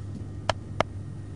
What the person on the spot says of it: Ce son mat provient d'une tôle insonorisante. Cette tôle est composée de deux feuilles d'acier très fines qui prennent en sandwich un film plastique de 45 microns